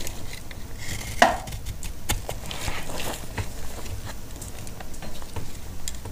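A solid, dry, pale green antibacterial soap bar is sliced with a utility blade in chopping strokes. The result is a steady run of short, crisp, dry crunches over a low rumble, with one sharper, louder snap early on. Each cut dies away almost at once.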